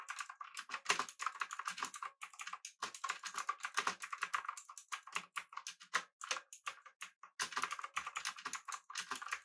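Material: Plastic.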